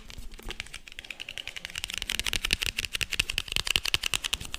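Fingertips and nails tap and scratch quickly on a small, hollow, green printed cardboard box with a white label. The result is a rapid run of dry, bright clicks with almost no ring, over a faint scratchy rustle. The taps grow louder and sharper in the second half.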